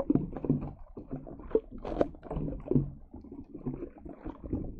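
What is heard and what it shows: Long yellow acrylic nails tap and press into a thick layer of green putty slime wrapped over the top of a silver Blue Yeti microphone, squishing it against the metal mesh grille. The result is a close, steady run of soft, wet squelches and sticky pops, with dull nail taps that stop almost instantly. The sound sits in the low and middle range with no bright edge.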